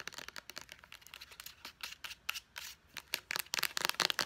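Long nails tap quickly on a small white plastic pump bottle with a purple pump top, striking both the bottle body and the pump. A rapid, irregular run of crisp, bright clicks with almost no low end or ring, growing denser and louder toward the end.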